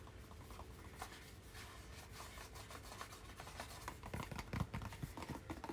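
A small, hollow white cardboard product box with a blue label is held in both hands and rubbed and tapped with fingertips and nails. Soft, dry scratching and rubbing runs throughout, with quick, muffled taps that grow louder and more frequent toward the end.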